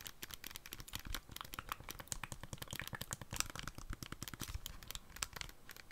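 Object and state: Plastic handheld game console.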